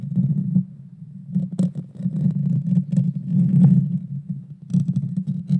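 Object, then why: Metal mesh microphone grille. Long dark fingernails scratch the small hollow round metal mesh grille of a Blue Yeti Nano microphone. The result is a dense, low, rumbling scrape centered around 130 Hz, swelling and fading in uneven bursts. Brief bright crackles flick across the top now and then.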